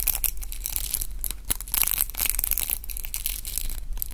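A pink round roller hair brush with plastic bristles and a wooden handle is twisted and rubbed between the fingertips of both hands. Dense, continuous scratchy crackling rises and falls in bright, high bursts over a steady low hum.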